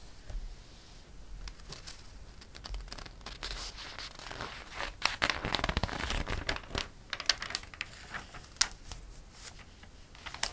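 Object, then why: Glossy paper catalog. Fingertips rub the page of a glossy paper catalog, then a page is flipped. Soft, bright papery rustling and crinkling swell in the middle, broken by sharp crackly snaps toward the end.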